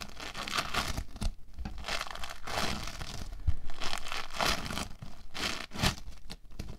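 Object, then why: Foam bead clay. Orange foam bead clay is squeezed, scratched apart with the fingertips and pressed with the palms on a table. It makes dense, crackling crunches and tearing crinkles in repeated bursts, with a soft low thump partway through.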